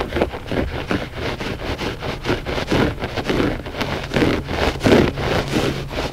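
Short fingernails and fingertips of both hands scratch the pile of a flat gray loop-pile textile carpet rug, which is solid and soft. Soft, rough scratching strokes repeat in an uneven rhythm, with a dull low body under a faint bright rasp.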